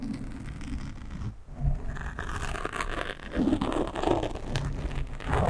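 Hands grip a black foam windscreen on a microphone while fingernails scratch across its top. The result is a continuous close-up rustle of scratching and crinkling, heavy in low rumble, with short sharper scrapes that rise and fall in speed.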